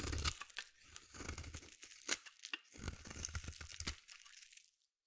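A solid white bar of soap is shaved with a metal blade, its shavings falling away in a scraping action. Dense, crunchy, tearing scrapes come in quick strokes with bright, crisp texture and a low thudding undertone, then fade to quiet at the end.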